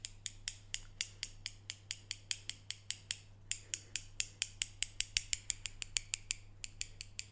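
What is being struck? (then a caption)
Steel scissors with plastic handles. A medium pair of steel scissors with orange plastic handles is held in the hands, its metal blades opened and closed so they scrape and snip against each other. Around 35 sharp, bright snips come in a quick, steady rhythm, each one very short and centered near 2.9 kHz. A faint low hum runs underneath throughout.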